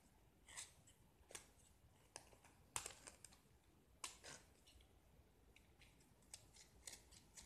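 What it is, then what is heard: Gypsum plaster block being carved. A small solid gypsum plaster block, painted red outside and white inside and held in one hand, is scraped and carved with a metal knife blade held in the other. Quiet, bright, crisp scraping and cutting strokes come in short, uneven bursts, with a faint soft hiss between them. White-red gypsum shavings fall onto a pile below.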